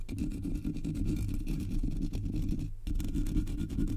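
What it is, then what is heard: Metal mesh microphone grille being scratched. Long nails scratch the sides and top of the black hollow metal mesh grille on a Blue Yeti microphone. The result is a dense, continuous rasping rumble, heavy in the low end with faint bright ticks. The scratching breaks off briefly near 2.7 seconds before resuming.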